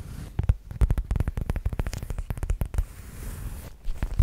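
Long nails tap and scratch on a black zip-around faux leather wallet held close to the microphone, first upright and then flat. Rapid, dull, low taps come in quick bursts, ease into a softer scratching stretch, then pick up again with a few sharper taps at the end.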